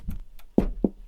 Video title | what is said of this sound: Le pain avec Simon | là il est creux il sonne creux et donc normalement ça devrait être cuit